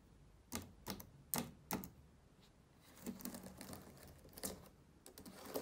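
Fingertips tap individual plastic keys on a black laptop keyboard. Four sharp, separate clicks come first, followed by a softer, busier run of taps with a slight low thump and bright click tops. Each tap dies away almost immediately.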